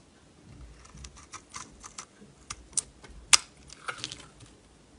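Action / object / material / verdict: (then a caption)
scrape / bar of soap cut with a metal blade / soap / none. A solid purple bar of soap, held in the hand, is shaved into flakes with a metal utility knife blade. Quiet, bright, crisp scraping clicks and ticks come in an irregular run, with a few sharper louder snaps toward the end. Each stroke dies away almost instantly.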